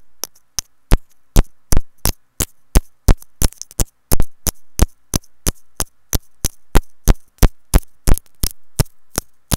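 Long nails tap a white plastic earphone inline remote and mic with a looped cable, making a rapid, slightly uneven series of sharp, dry clicks at about three per second. Each tap has a dull low thump and a bright tick, then dies away almost instantly.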